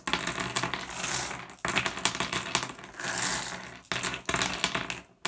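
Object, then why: Small flat glass gem pebbles on wood. A pile of small, solid, blue, iridescent, flat glass gems on a wooden surface is picked up and dropped by fingertips. Dense, bright clinks and rattles come in continuous bursts, with short pauses between handfuls. The clicks ring briefly and sit high, around 3.4 kHz, with little low end.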